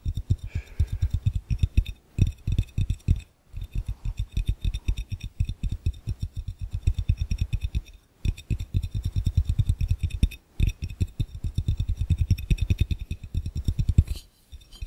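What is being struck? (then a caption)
Glass fishbowl. Fingertips rapidly tap and scratch across the base of an empty, hollow, clear glass fishbowl. The result is a dense run of short, dull low thumps with a faint bright glassy shimmer above, broken by a few brief pauses.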